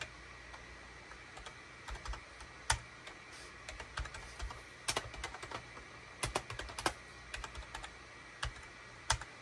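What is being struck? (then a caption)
Plastic computer keyboard. A full-size gray SHIPADOO K600 wired USB keyboard with a hollow plastic case and cream, gray and orange plastic keycaps, resting on a desk mat, is typed on rapidly with the fingertips of both hands. Irregular runs of sharp, bright plastic clacks come in bursts with brief pauses between them, a few strokes landing louder than the rest. The clicks stop short, over a faint low hum.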